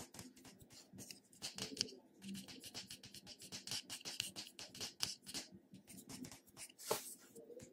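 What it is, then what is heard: Plastic cosmetic jar. Fingernails tap and scratch the top and sides of the purple lid on a small purple plastic cosmetic jar held in a hand. The result is a quiet, rapid string of sharp, bright clicks mixed with dry, hissy scratching, with most energy in the high frequencies and almost no low end.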